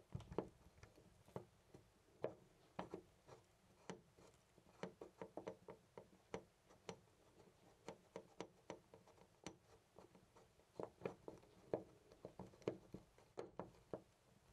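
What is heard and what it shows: Fingers jiggle and rattle a loose brass-colored metal door knob on a white interior door. About 35 quiet, dry clicks and clacks come in irregular bursts over the 14.5 seconds, each dying away almost at once. The clicks center around a mid pitch of roughly 450 Hz, with little low rumble and only faint bright edges.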